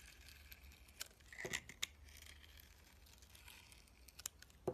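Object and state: Bar soap being sliced.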